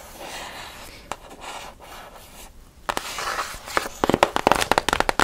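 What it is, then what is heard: Cardboard box tapped and scratched with nails. First comes a rough, hissing scratch across a stiff surface. Then a run of crisp, bright clicks, a dozen or so, closing in a fast flurry. Each click dies at once, the dry tick of fingernails on a flat cardboard box in a small room.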